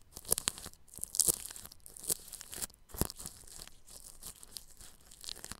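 A bristle paintbrush brushes over clear plastic cling film stretched across a round microphone's grille. It makes bright, crinkly, scratchy swishes with sharper crackling bursts scattered throughout, against a low rustling bed.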